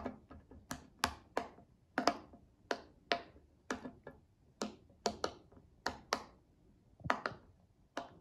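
A hand-sized, hollow, flexible silicone pop-it fidget toy in pastel mint and rainbow colours lies flat on a glass table while both index fingertips press and pop its bubbles one after another. About 17 short, sharp, bright pops and ticks come at an uneven pace, each dying away almost instantly. Some are louder and crisper, others softer and duller.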